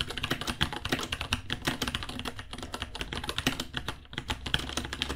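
Fingertips type steadily on a white 66-key mechanical keyboard, about 30 cm wide, with plastic keycaps, Gateron Brown switches and a hollow case. A rapid, continuous stream of bright, short clacks rings around 3.2 kHz, each dying almost instantly, over a hollow low thock from the case.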